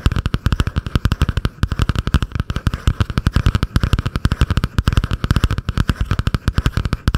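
Long painted nails tap and scratch fast on the cardboard cover of a butterfly-print spiral notebook held just above a foam-covered microphone. About 57 short, dry, bass-heavy thumps follow one another at an uneven, rapid pace for seven seconds, with a faint scratchy rasp between them.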